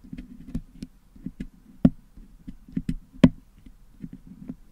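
A wooden toothpick pokes and scratches near the top of a Blue Yeti microphone's metal mesh grille that is packed with blue putty, picking the putty out to clean it. The result is a close, soft run of dull, low-mid taps and scrapes with a steady murmur, broken by two louder, sharp clicks that die away instantly.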